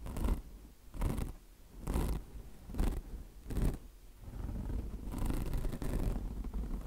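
Long blue nails scratch across the mesh surface of a foam-filled, mesh-covered microfiber car wash sponge. Five separate rough, raspy strokes with a dull low rumble underneath are heard first, each followed by a short pause. Then the scratching turns into a steadier, continuous rasping to the end.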